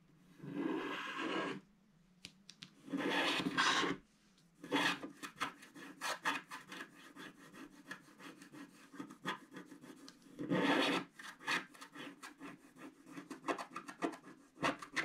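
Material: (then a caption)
Coated paper. A wooden stick stylus held in the fingers scrapes across a flat black-coated scratch art card sheet. Long, dry, hissing strokes alternate with quick bursts of short, crackly scratches and brief quiet pauses.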